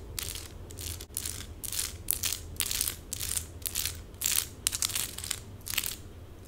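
Long pink acrylic nails scratch quickly across small plastic stick-on rhinestones covering a forearm and hand. Bright, crunchy scratching bursts come in an uneven rhythm of roughly two per second over a faint low hum.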